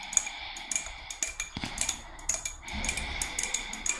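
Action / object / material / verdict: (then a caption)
tap / spiny murex seashell / shell / none. Long red nails tap and scratch the spines of a hand-sized, hollow, thick-walled white spiny murex shell. A quick series of sharp, bright clicks that stop dead with no ring sits over a steady, high scratching hiss.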